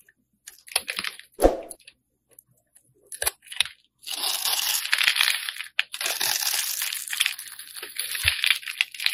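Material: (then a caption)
Soap. A hand-held pink solid soap bar is carved with a metal utility blade that scrapes off thin flakes and chips. A few short, crisp scrapes and crunches come first with brief gaps between them. From about four seconds, the blade settles into continuous, bright, crackling scraping until the end.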